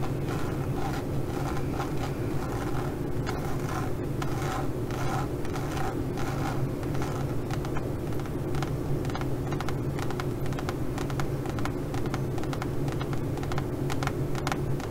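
Long nails scratch and tap across the textured surface of a leopard-print pebbled faux leather pouch. The result is a steady, continuous rasping with a dense low rumble and quick ticking scrapes layered on top, holding an even loudness throughout.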